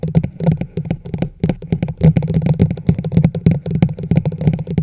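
Long nails from both hands rapidly tap the sides of a large hollow teal plastic chug mug held over a microphone. The quick, uneven taps each give a short, hollow, low resonant knock around 164 Hz, topped with bright clicks from the nails.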